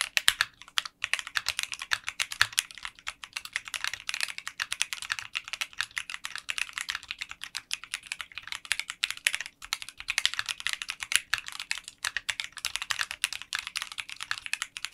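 Fingertips type continuously on a 60% mechanical keyboard with translucent pink polycarbonate keycaps in a clear case. Each keystroke gives a short, sharp click that dies away almost instantly, with bright energy centered around 3 kHz and almost nothing in the low end. The rapid clicks run together into a steady, uneven patter for the whole clip.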